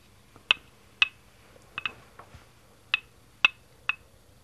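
Fingertips tap a small green hollow plastic Lego Duplo brick, about 2x4 studs, lying on a green baseplate on a tile floor. Seven short, bright clicks come at uneven intervals, each with a hard plastic snap around 2.6 kHz and almost no ring, along with a few fainter handling ticks.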